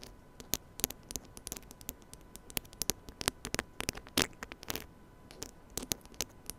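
Fingertips and nails scratch the head and grille of a small silver metal mini microphone on a stand, held close. A rapid, irregular series of short, bright scratchy clicks and taps rises above a faint steady hum and hiss, with a denser rasping scrape near the middle.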